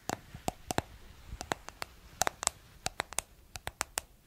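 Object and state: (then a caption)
Plastic cosmetic jar lid tapped. Long nails tap and scratch the flat white lid of a round, palm-sized, hollow cosmetic jar with a white plastic lid and blue body. About 17 quick, sharp, dry clicks come in an uneven rhythm, each with a hollow knock near 700 Hz and a bright, high edge, between faint soft scratching. Each hit stops almost at once.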